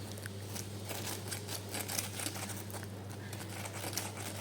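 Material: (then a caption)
Fried batter. Fried meatballs in a crispy batter of all-purpose flour and crispy-fry flour are crunched, giving a steady run of bright, crackly crunches over a constant low hum. The coating sounds crisp, and it is said to stay crisp for 2–3 hours without turning hard as it cools.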